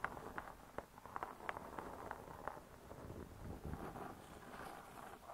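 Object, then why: Laminated board cover of a spiral-bound cookbook. Long stiletto nails tap and scratch the laminated board cover of a closed spiral-bound hardcover cookbook. Quiet, dry taps with almost no ring come first, then a softer, continuous scratching texture takes over in the second half.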